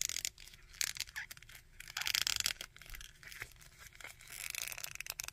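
Fingertips and nails scratch the coat of a small plastic Red Skull action figure and move its arms. Bright, dry scratching and crinkly tearing-like rasps come in short bursts, with little low end.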